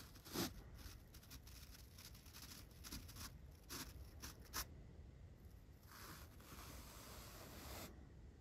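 A large paintbrush's bristles are pressed and swept across a dark foam windscreen on a microphone. Soft, bright, scratchy brushing strokes come in uneven bursts, a few sharper and louder, over a low rumbling bed. Near the end, one longer sustained sweep brings a steady hiss.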